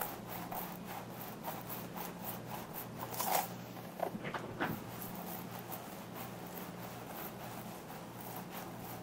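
Fingertips and nails scratch and rub the scalp area of a mannequin head wearing a long black synthetic hair wig, then run through the hair strands. A steady, soft, scratchy rubbing plays over a faint low hum, with quick repeated bright strokes. Three louder, sharper scrapes stand out in the middle before the rubbing settles back to its quiet pace.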